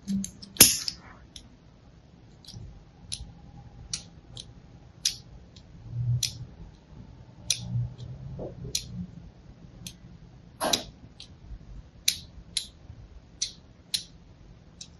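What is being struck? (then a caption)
Bar soap. A thin blade scores diagonal lines across the face of a palm-sized, solid pink-and-white striped bar of soap held upright. About sixteen crisp, bright scratching clicks come in short separate strokes, each fading quickly, with a faint low hum in the quiet gaps between them.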